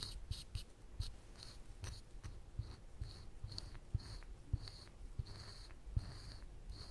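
A woodburning pen's wire tip is scratched in short lines across a flat, thin plywood panel to draw teeth. Quiet, dry scratching strokes come in short bright bursts of hiss over a soft low rumble. Sharp little ticks sit among them, with no ring after each stroke.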